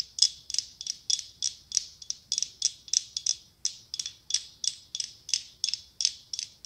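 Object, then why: Decorative pumpkin covered in mirrored glass tiles. Long pink acrylic nails tap and scratch a hollow decorative pumpkin covered in mirrored glass tiles. It makes a rapid, steady series of crisp, bright ticking clicks, about three per second, with no low end. Each click is sharp and dies away almost at once, giving a ratchet-like clatter.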